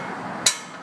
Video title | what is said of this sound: Another Case Study For Integrity Auto Care In Hillsboro Oregon Noise On Acceleration | that causes this to rattle quite a bit